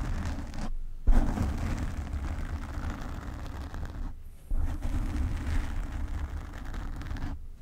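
Long nails of both hands scratch the black foam cover on a desk microphone, producing a dense, muffled low rumble with a rustling texture. The scratching briefly stops twice, then resumes more loudly each time.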